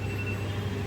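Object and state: Nothing is struck.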